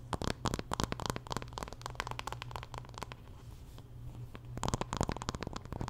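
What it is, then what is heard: Wooden paddle hairbrush, tapped and scratched. Long nails scratch and tap on the wooden back and handle of a wooden paddle hairbrush. Quick, dry clicking taps come in dense bursts, fading into a softer, scratchy stretch in the middle before the rapid tapping returns. A steady low hum sits underneath throughout.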